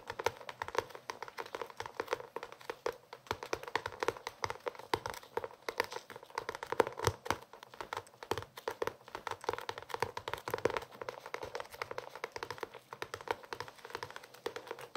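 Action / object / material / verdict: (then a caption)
tap / cloth-covered hardcover notebook / cloth, board / none. A closed blue hardcover notebook with a cloth-like cover and a red page edge is held up and tapped or scratched on its cover with the fingertips. It makes a quiet, continuous flurry of rapid soft taps and dry scratchy crackles, centered in the midrange with very little bass. Each tap dies away almost instantly.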